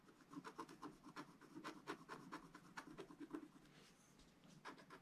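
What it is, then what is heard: Scratch art paper being scraped. A wooden stylus scrapes small detail areas on a sheet of black-coated scratch art paper, making many quick, dry scratching strokes. The soft rasps come in a rapid, uneven rhythm with a mid-pitched rough texture, ease off briefly near the four-second mark, then return as a few final strokes.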